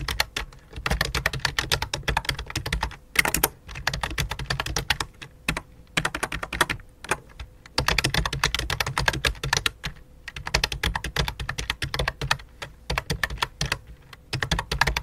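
Both hands type quickly on a full-size white and light-blue plastic computer keyboard resting on black cloth, striking the keys with fingertips and long dark nails. The result is a dense stream of sharp, bright clicky taps over a soft low thud, in bursts with brief pauses, plus a faint steady hum underneath.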